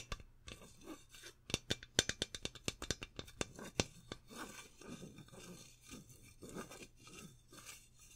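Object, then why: Metal aerosol can. Fingertips and nails lightly scratch and rub the body of a hollow metal aerosol deodorant can held in both hands, with only a few taps. A quick run of sharp, bright ticks in the first half gives way to softer, hissy scratching and rubbing. A faint steady low hum sits underneath throughout.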